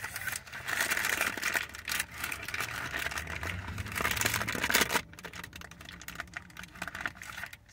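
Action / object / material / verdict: tap / paper wrapper around a sandwich / paper / none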